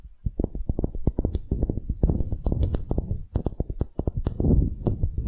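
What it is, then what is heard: Wooden block tapped and scratched with nails. Long glittery nails scratch and tap along a small, solid light-wood block engraved "relax," with a string loop through a hole, held in both hands. A rapid, uneven run of dull, low, close-up knocks and scrapes is heard, with short bright clicks now and then. Each tap dies away almost at once.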